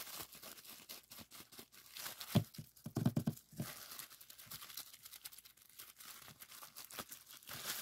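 A clear plastic bubble wrap sheet with small air-filled bubbles is held and folded between fingertips, then squeezed and popped. Steady soft crinkling and rustling runs throughout, broken by sharp, dull pops that cluster and grow loudest around the middle before the crackling settles back to a quiet texture.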